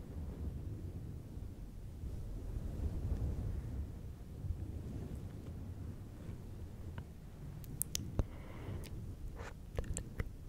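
Fingertips of both hands rub and squeeze a fluffy synthetic fur windscreen on a silver microphone, producing a dense, muffled low rumble with soft scratchy texture throughout. In the last few seconds, sharp brief clicks and bright crackles pop out over the rumble.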